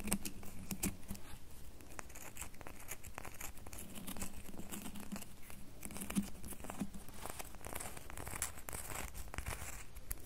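A solid red bar of soap is held in the hands while its edges and faces are rubbed and scratched with fingernails. The result is a quiet, steady stream of fine, dry scratching and crinkly crackles with brief bright streaks, over a faint low hum.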